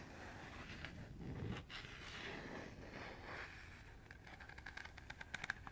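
Fingernails scratch and scrape across the radial slots of a round, hollow, empty green plastic colander held in the hand. A steady, dry scraping rustle sweeps back and forth, then breaks into a quick run of sharp, bright clicks as the nails catch on the slots toward the end.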